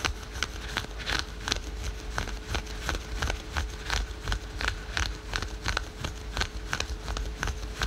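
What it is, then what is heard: Synthetic stretch leggings fabric being scratched. Fingernails scratch rapidly over patterned spandex and polyester yoga pants worn over the knee, giving a quick, uneven run of dry, bright scrapes against a low background rumble. A faint steady tone sits underneath.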